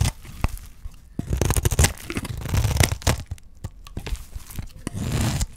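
A utility knife blade slices strips and flakes off the surface of a solid, dry green olive soap bar held in the hand. It makes a rapid series of crisp, crunchy scraping cuts with bright crackling edges over a dull low body. Short bursts of shaving alternate with brief pauses.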